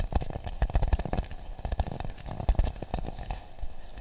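A hollow, empty half coconut shell with a brown polished surface is held and tapped with the fingertips close to the microphones. The result is a quick, uneven series of short, dull, bassy knocks with a low hollow body and almost no bright content, each dying away almost instantly.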